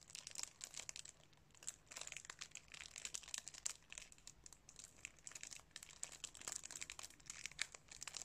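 A plastic DVD case, still sealed in its thin cellophane wrap, is held in both hands while fingertips crinkle and rub the wrap. Quiet, bright, crackly crinkling comes in dense irregular bursts with almost no low end, each crackle cutting off instantly.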